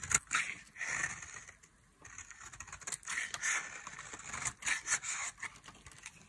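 A solid oval bar of dry yellow soap, held in the hand, is carved with a metal blade into curled shavings. Bright, dry scraping and cutting strokes come in bursts with short pauses between them, giving a crisp, high scratching texture with almost no low end.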